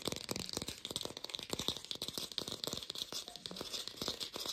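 An artificial plastic pear is tapped rapidly with a lo-fi sound, giving a steady stream of short, dry, bright clicks. The taps die out almost instantly, with little low end and most energy in the upper frequencies.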